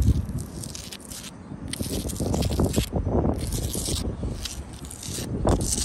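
Long blue acrylic nails scratch across a solid sandstone block wall and its mortar joints. The result is a continuous, crunchy, gritty scraping with a heavy low rumble, broken by repeated bursts of bright, hissy grit.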